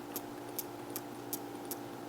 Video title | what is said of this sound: Makeup Collection ASMR Whispering + Tapping Part 1 | Even the charms on the zipper are not plastic coated in metal, they're completely metal, as you can hear.